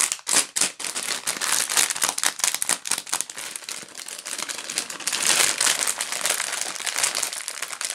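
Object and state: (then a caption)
Plastic candy bag. A pink plastic gum bag held in both hands is crinkled and scratched with fingertips and long nails. The result is a dense, continuous run of bright, crackly crinkles and scratches, mostly high-pitched, with almost no low end.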